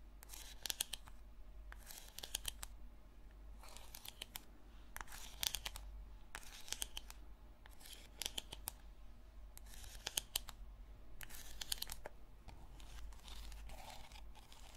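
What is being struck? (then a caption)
Small plastic tub. Long nails scratch a small purple plastic slime tub, making bursts of bright, rasping scrapes separated by short pauses. A steady low hum runs underneath throughout.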